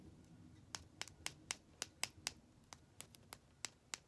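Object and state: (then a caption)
Plastic lip gloss tube tapped with nails. A slim, hollow, pink metallic-finish plastic lip gloss tube with a cap, held in the fingers, is tapped and scratched along its length with long nails. About 14 quiet, sharp, bright clicks with almost no ring come at an irregular pace over a faint scratchy background.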